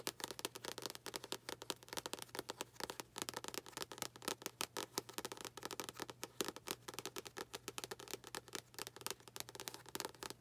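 Long nails tap quickly and steadily on the glossy card cover of a paperback book held upside down. The taps come as a dense stream of crisp, bright clicks that stop dead with no ring, at a quiet level throughout.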